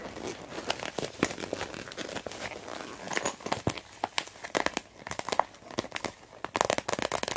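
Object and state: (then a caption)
Plastic pencil case. Fingertips and long nails squeeze, crinkle and tap a medium, hollow, translucent blue plastic pencil case with an orange zipper, then rest flat on it. Dense, bright plastic crinkling is broken by many sharp, quick clicks and taps, with little low end and almost no ring.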